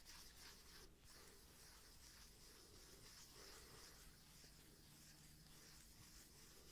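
Fingernails scratch across the flat face of a thick, solid, palm-sized round cork disc held in one hand. The result is a quiet, continuous, dry rasping with irregular back-and-forth strokes and a bright hissy edge over a low rumble.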